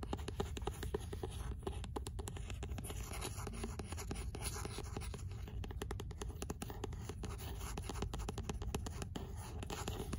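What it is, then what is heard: Paperback book scratched with nails. Long nails scratch the rough page edges, back cover and front cover of an 'L'imaginaire' paperback book with a paper cover. The result is a steady stream of dense, rapid, dry scratching with soft, rustling texture and a low-heavy body, holding an even level throughout.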